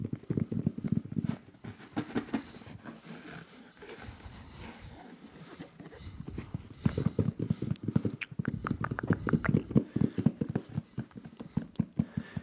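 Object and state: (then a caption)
Game controller carrying case. An Xbox controller carrying case, a plastic zipper case for a game controller, is tapped repeatedly, giving rapid, dull, low knocking sounds. The taps come in dense bursts at the start and again in the second half, with a quieter, softer stretch in between.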